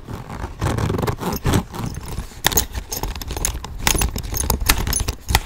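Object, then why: Small leather handbag with metal hardware. Fingernails tap and scratch the flap and front of a small, hollow tan leather handbag with brass hardware. Soft, dense scraping runs throughout, broken by quick, bright clicks and dull low thumps. Short, close rustling bursts rise and fall across the clip.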